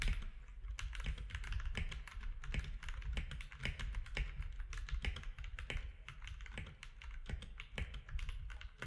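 Fingertips of both hands type on a compact mechanical keyboard with grey, white and orange plastic keycaps. A steady, rapid stream of short clacky keystrokes is heard, each with a bright click over a low, muffled thud. The presses die away quickly, leaving a continuous patter of typing.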